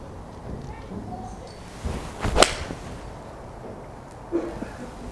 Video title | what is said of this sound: Cobra King Forged TEC Iron Review | It's a lovely sound to that, you know, maybe that carbon medallion in the back helping with that, but it does sound it sounds solid, it's not loud.